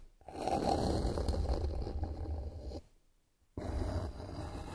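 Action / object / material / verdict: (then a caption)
scrape / flat bamboo board / bamboo / none. Long nails scratch across a solid, flat bamboo wooden board lying on a surface, making a dense, rough, low-heavy scraping. The scratching runs steadily for over two seconds, stops for a brief silence, then starts again.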